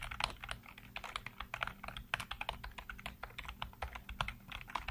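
Fingertips rapidly tap and type on the hollow keycaps of a full-size black plastic computer keyboard. A fast, uneven stream of short, crisp clicks and clacks rings out, bright with a mid clack and barely any ring, over a faint steady low hum.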